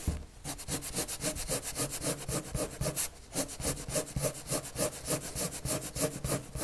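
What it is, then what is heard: Pencil strokes on a paper sheet. A red colored pencil draws quick strokes across a large white paper sheet lying on a flat table, its tip rubbing and scratching the surface. About 15 bright, papery scratches come in a fairly fast, uneven rhythm, with a brief pause just after the three-second mark. Each stroke ends quickly, with a soft low rumble underneath.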